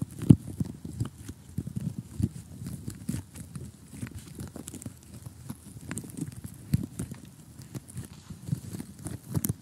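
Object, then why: Cardboard jigsaw puzzle. Several short, polished fingernails of both hands tap rapidly on a flat, glossy cardboard jigsaw puzzle that has a gap of loose pieces. The result is a quick, uneven stream of soft, dull taps with a low, muffled body and faint bright clicks on top. A few taps land noticeably harder than the rest.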